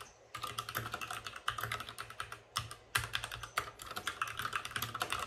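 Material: Plastic.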